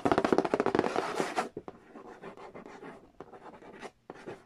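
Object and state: Cardboard board game box.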